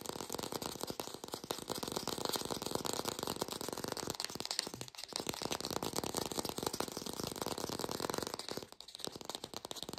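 An artificial green apple, probably plastic and hand-sized, is held close and fast-tapped with long pink nails, giving a dense, continuous stream of light, dry clicks and rattling taps. The tone is bright and lo-fi with little low end. Brief dips around the fifth and ninth seconds break the otherwise steady tapping.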